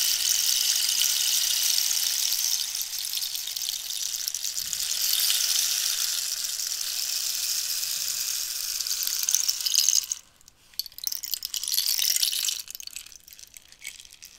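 A long, hollow wooden rainstick made of dried cactus is tilted and brought toward the camera while long nails tap and scratch its ridged surface. A steady, bright, rain-like hiss of tumbling fill pours for about ten seconds, then cuts out abruptly. It gives way to quieter, uneven bursts of crisp scratching and tapping that fade toward the end.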